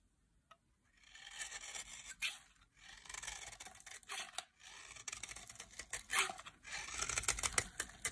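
A solid pink embossed bar of dry soap, held in both hands, is carved into flakes with a metal utility blade. Crisp, bright scraping and cutting strokes come in dense bursts with short pauses between them, mostly high in tone with almost no low end.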